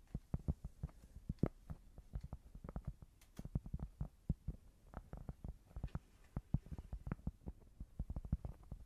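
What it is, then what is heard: Cork board. Fingers tap on a cork board in a quick, irregular run of dull, muffled thuds. Each tap is quiet, low and very short, with almost no ring, centred around 160 Hz and lacking any bright edge.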